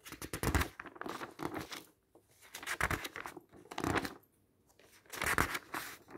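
Fingers flip through the pages of an open magazine with matte and glossy paper, making a shuffling, crinkling rustle. Bursts of broadband paper noise come in irregular clusters, separated by brief quiet gaps.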